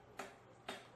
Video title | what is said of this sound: Ep.17d- PROJECT: AE86 - Corolla Sr5 to GM 7.625 Rear End Conversion Part4 (Final) | you can hear a slightly different sound whenever you're tapping whenever it's fully seated